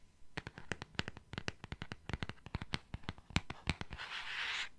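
Fingernails tap and scratch the glossy cardboard cover of a solid purple hardcover book held in the hands. Quick, irregular clicky taps with a dull low thud beneath them run for about four seconds, then give way to a continuous bright, hissy scratching across the cover at the end.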